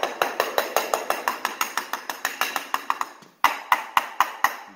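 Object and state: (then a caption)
Hollow concrete slab, no footing underneath. A concrete slab floor is tapped repeatedly along a load-bearing wall: a rapid run of about eighteen sharp, dry taps with a bright, hollow ring near 1 kHz, a brief pause, then five more distinct, louder taps. The slab sounds very hollow, indicating there is no footing underneath.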